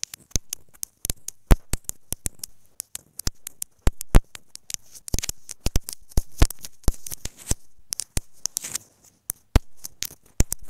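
Long nails tap and scratch repeatedly on a small white plastic inline microphone housing on an earphone cable, lying on fabric. Rapid, irregular sharp clicks land with a deep, boomy thump, mixed with bright, hissy scratching between them. Each tap cuts off almost instantly, with no ring.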